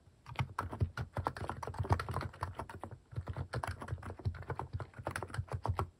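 Fingertips type fast on a plastic mechanical keyboard fitted with cat-shaped plastic keycaps, producing a dense run of short, sharp key presses. The clacks are mostly low and thocky with a little bright click on top, each dying away almost instantly.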